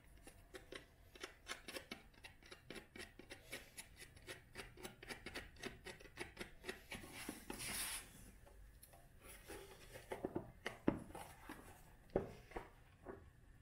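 Long nails scratch and rub along the spine and edges of an old, solid brown and tan cloth-bound hardcover book held in one hand. The result is a quiet run of quick, dry, papery scratches, with a longer steady rub in the middle and a few sharper scrapes near the end.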